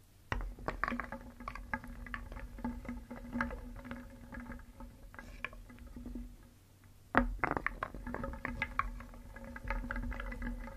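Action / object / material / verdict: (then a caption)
scrape / small wooden pieces in a wooden bowl / wood / none. Small painted solid wooden cones, eggs and discs are stirred in a round wooden bowl with a wooden spoon, so the pieces clack against each other and the bowl. The result is a continuous, dense clatter of many pieces rather than single taps, with a faint low wooden ring under it. The stirring starts abruptly, thins out to a brief lull around the two-thirds mark, then resumes with a sharp burst and carries on to the end.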